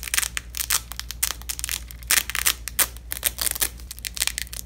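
A long, thin purple nylon hook-and-loop (velcro) strip, folded onto itself, is repeatedly pressed together and ripped apart by black nitrile-gloved fingertips over red cloth. Each pull gives a short, bright, crackling rip, with quieter rasps between the sharper bursts. A low, steady hum runs underneath throughout.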